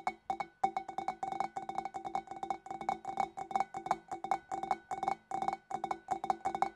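Long dark nails tap rapidly on the rim and shoulder of a large, clear, empty, hollow glass fish bowl. The result is dozens of quick, clicky taps in irregular bursts, each with a brief glassy ring around 770 Hz plus a faint higher overtone that dies almost at once.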